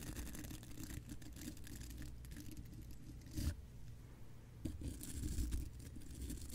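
The bristles of a small spoolie brush, held in the fingertips, brush and scratch across the large hollow steel mesh grille of a condenser microphone. The result is a dense, continuous scratchy rustle with a heavy, boomy low rumble and only faint bright hiss. Louder swells come near the middle and again toward the end.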